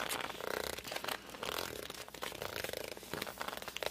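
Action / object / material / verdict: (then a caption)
scrape / glossy hardcover book cover / coated paperboard / none. Fingertips and palms grip and squeak against the glossy cover of a hardcover book. The result is a continuous run of short, rubbery squeaks and scrapes, some with a tonal whine around 600 Hz and a bright, airy edge, with almost no low end.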